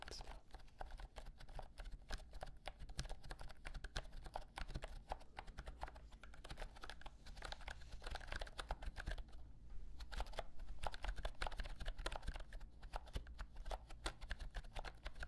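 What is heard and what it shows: A pink and white compact plastic keyboard with round typewriter-style keycaps, held upright near the microphone, is typed on with fingertips. Many quick, dense clicks and clacks run through the clip with a steady low hum underneath.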